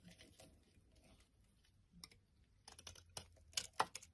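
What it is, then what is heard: Soap bar being carved. A black-handled metal blade scrapes and cuts flakes from the surface of an opaque yellow solid soap bar held in hand. Quiet, soft scraping gives way to a series of crisp, bright cutting scratches that grow sharper and louder toward the end.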